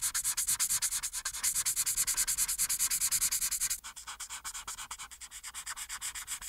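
A marker tip held in the hand rubs in short, rapid strokes on a thin printed paper coloring page lying flat on a dark, solid board, working near the chin of the picture. Each stroke gives a bright, dry, scratchy hiss with almost no low end, in a steady rhythm of quick pulses. After about four seconds the strokes turn noticeably softer.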